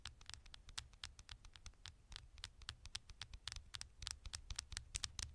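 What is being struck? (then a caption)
Smartphone with metal back panel. Long nails scratch and tap the gold metal back panel of a small, thin smartphone. Quiet, crisp, bright clicks and scratches come in a rapid, irregular patter over a low rumble, each sound dying away almost at once.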